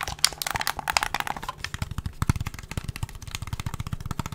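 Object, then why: Plastic game controller. Fingertips tap and click the buttons, triggers and hollow plastic housing of a black plastic gamepad held in front of a microphone. The result is a rapid, continuous series of short, dry clicks and taps with almost no ring: sharp high crackles layered over duller, hollow low thumps.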